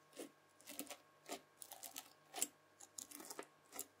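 A white plastic fork presses rows of dents into red bead-filled floam slime on a table. Each press gives a quiet, bright crunchy crackle as the beads pop and shift, repeating in short bursts with faint squishy rustling between them.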